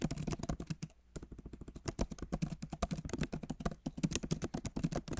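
Fingertips of both hands type on the backlit keyboard of a MacBook Pro, its plastic keys set in a solid aluminum body. The result is a rapid stream of short, dry clicks with a soft low thump under each keystroke and brief pauses between bursts.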